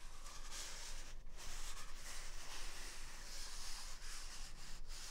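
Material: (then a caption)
Paper. A single large white toilet paper roll with a hollow core is held close to the right ear and rubbed with the thumb and fingers over its soft outer paper. The result is a steady, soft, brushing rustle with bright hiss, low rumble underneath and no distinct hits.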